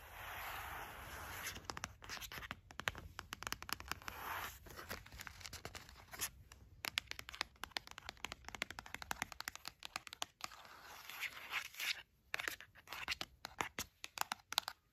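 Long nails tap and scratch along the length of a long, thin gold cardboard sleeve holding incense sticks. Quick, dry, crisp taps mix with bright, hissy scratching strokes, with no ring after each hit.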